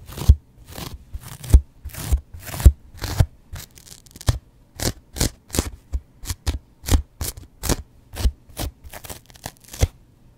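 A yellow foam kitchen sponge with a scouring pad, held near the microphone, is scratched with a double-edge razor blade. About 27 short, separate scratching strokes each give a dry, crackly rasp that reaches high, with a dull low thump underneath. The strokes stop quickly, with near silence between them.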